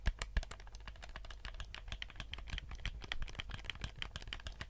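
Fingertips tap and click the buttons and hollow plastic shell of a black PS4-style gamepad. A rapid, irregular stream of short, dry clicks and taps runs throughout over a low steady hum, with two louder knocks at the very start.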